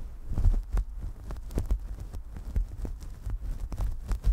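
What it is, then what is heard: Synthetic fur microphone windscreen being scratched. Long nails scratch downward through a synthetic faux-fur windscreen on a desktop microphone, and then both hands rub the top of the fur. The result is a deep, muffled, thumping rumble of repeated soft strokes, with almost no bright content.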